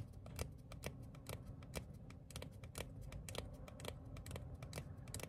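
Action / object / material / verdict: tap / thin printed paper card / paper / none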